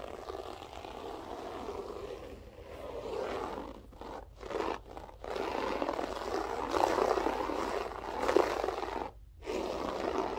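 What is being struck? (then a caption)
Loop-pile carpet. Long nails scratch the looped pile of a grey loop-pile berber carpet floor, making a dense, rough scraping and crunching texture centered in the low-mid range. The scratching runs in uneven strokes broken by a few short silent pauses.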